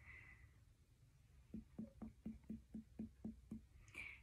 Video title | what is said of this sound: HEALTHY BELLY Student Nurses #1 - Set of ABDOMINAL Assessments | And I hear a dull sound over your spleen, which is completely normal.